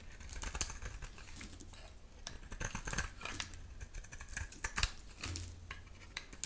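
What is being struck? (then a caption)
Bar of soap shaved with a knife blade. A solid oval bar of dry soap with a pink interior and black rim is held in the hand and shaved with a metal utility knife blade, producing pink flakes. A run of quick, dry, crisp scrapes and crackling clicks sounds bright and short, with almost no ring, over a steady low hum.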